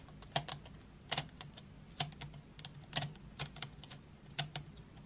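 Long nails tap painted wooden graphite pencils and their sharpened tips as they lie in an open metal tin tray. The result is a quiet, irregular run of short, dry, bright clicks that stop quickly, some stronger than others, over a faint steady low hum.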